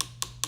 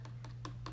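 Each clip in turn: First: dry acrylic nail. Second: wet acrylic nail.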